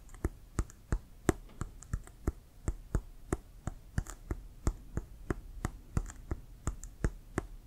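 Fingertips and nails tap on a hollow, inflated brown Wilson leather American football. The taps come as a steady, loosely spaced run of short, dry clicks, each with a brief low thump and a bright tick that dies away almost at once. Soft background noise fills the gaps between taps.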